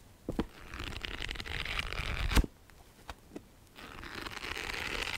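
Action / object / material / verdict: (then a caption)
scrape / paperback book with paper cover / paper / none. A paperback copy of Harry Potter and the Half-Blood Prince with a paper cover, held upright, is tapped and scratched with long nails along its cover and page edges. A dry, rustling scratch with a bright hiss runs for about two seconds and ends in a sharp, louder tap. After a quiet pause with a few light taps, the scratching resumes.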